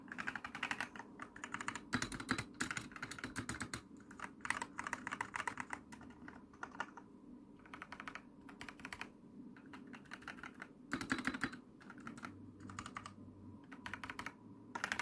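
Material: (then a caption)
Plastic. Fast typing on an RGB mechanical keyboard with plastic keycaps, pressed with long nails and fingertips while a hand covers much of the board. Rapid bursts of short, dry, bright clacks come in quick runs separated by brief pauses, with a low, thocky body under each press.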